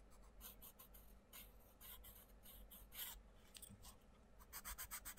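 A wooden pencil tip draws continuous scratchy colouring strokes across the page of an open paper colouring book lying on a table, with the other hand resting on the paper. Bright, dry rasping bursts come in quick uneven back-and-forth strokes over a low, steady background. The strokes speed up into a tight run of rapid scribbles at the end.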